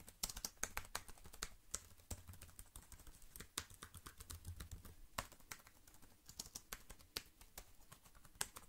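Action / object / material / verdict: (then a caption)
tap / plastic computer keyboard / plastic / none. Fingertips tap and type rapidly on the keys of a slim black plastic wireless keyboard held up near the mic. Quick, sharp, bright clicks fire in an uneven, busy stream with almost no ring, over a steady low hum.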